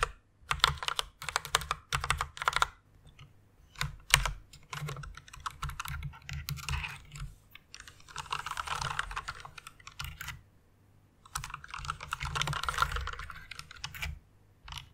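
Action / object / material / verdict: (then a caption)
tap / plastic mechanical keyboard / plastic / none. Fingertips with long nails type fast on a white plastic mechanical keyboard. Bursts of rapid, bright clacks with a low thock underneath alternate with short pauses. Denser rattling runs rise around the middle and near the end.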